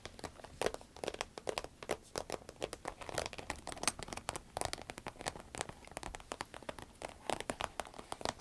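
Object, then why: Vinyl zip pencil case. Long red acrylic nails scratch, tap and squeeze a small, cylindrical, sparkly green vinyl pencil case with a zipper, which is hollow and appears empty. The result is a dense, steady patter of short, dry crinkling and crackling taps with a bright, rain-like texture and almost no ring after each touch.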